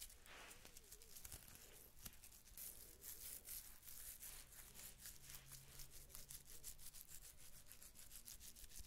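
A small, hollow, ribbed wooden cylinder held in one hand is rubbed and scratched along its grooves with long nails. It makes a quick run of dry, raspy scraping strokes with a bright, hissy top over a soft low rumble, all at a quiet, close level.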